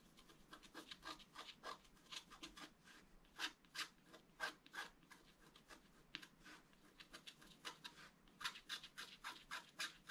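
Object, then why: Scratch-art card with black coating over foil, scratched with a wooden stylus. A wooden stylus scratches fine lines into the black coating of a flat scratch-art card with colored foil underneath, lying on a table. Many short, dry, bright scraping strokes come in quick irregular bursts at a quiet level, with almost no low end and no ring after each stroke.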